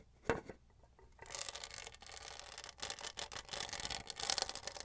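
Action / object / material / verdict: scrape / studded plastic tumbler scratched with fingernails / plastic / none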